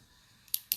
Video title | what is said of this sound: Live makeup du 30 mai | toujours secouer quand vous entendez la bille